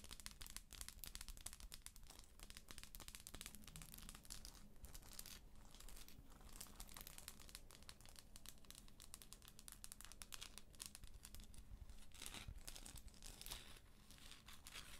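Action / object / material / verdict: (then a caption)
scrape / textured plastic moon lamp / plastic / none. Long acrylic nails scratch and tap the textured top surface of a hollow plastic galaxy moon lamp, close up. A dense, continuous stream of quiet, crisp crackling scratches and light ticks runs throughout, bright in the highs, over a faint steady low hum. Each tap dies away almost instantly.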